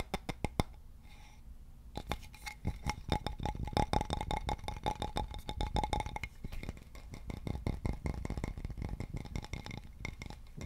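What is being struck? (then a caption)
Wooden board with a central hole. Fingertips and nails tap and scratch the face and edges of a solid polished wooden board with a central hole. A few sharp taps open, then dense, rapid dry tapping follows, with short low-heavy knocks that die away almost instantly. Light scratching and a faint steady ringing tone sit underneath.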